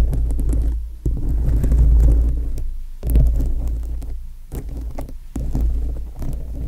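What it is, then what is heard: Rhinestone-covered foam microphone windscreen. Long nails scratch and tap across a foam microphone windscreen whose dome is covered with small plastic rhinestones. The result is a deep, muffled, throbbing rumble with irregular soft thumps, almost entirely low in pitch with little brightness.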